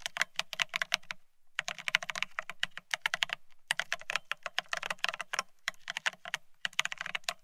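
Fingertips of both hands type fast on a full-size beige split ergonomic keyboard with plastic keycaps. The result is a rapid stream of bright, dry clicks with almost no ring, broken by brief pauses.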